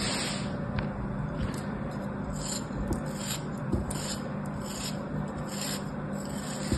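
A small, solid, molded block of beige kinetic sand held in the fingers is cut and scraped with a thin black blade, and the block breaks apart as it is sliced. A steady, soft, grainy scraping runs throughout, with brief bright crumbly bursts as the blade moves through the sand over a low background hum.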